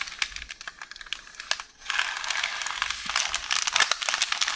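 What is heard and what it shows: Long orange nails scratch, tap and crinkle a beige roll of baking paper, a hollow tube resting on a counter. Sharp, bright taps and crisp papery rustles come in quick, irregular bursts, with almost nothing in the low end. A brief near-silence just before the two-second mark gives way to a denser, steadier crinkling wash.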